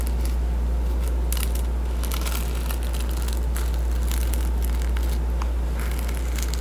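Fingers rub and scratch across the reversible plastic sequin patch on a cardboard hardcover children's board book, flipping the sequins. The result is a continuous, dense crackling scratch of rapid clicks over a steady low hum that holds at an even level throughout.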